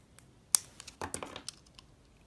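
Solid yellow soap molded as a banana bunch, held in hands with painted nails, is cut and scraped with a utility knife blade. About eight crisp, bright cutting and scraping ticks sound, the loudest a sharp snap near the start, with short dry flutters of blade on soap between them and almost no ring.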